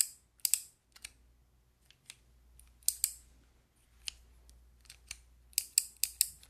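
A handheld fidget toy with a clear plastic frame and white keycaps is clicked and tapped with long nails. The result is a series of sharp, dry, bright plastic clicks with almost no ring, spaced irregularly and sometimes coming in quick pairs.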